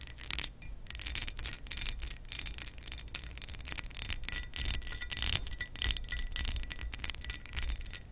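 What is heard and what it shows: Acrylic nail tips on curled fingers tap rapidly across the textured surface of a pressed glass lamp base. The result is a dense stream of short, bright glassy clicks and clinks that fade almost instantly, over a faint low rumble.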